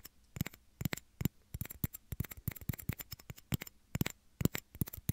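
Two small, hollow, empty clear plastic shot glasses are held in both hands near the microphone's ears and tapped and scratched with fingernails. Quick, quiet, uneven bursts of light clicky taps each have a soft low thump and a bright tick that dies away almost instantly, with faint scratching between them.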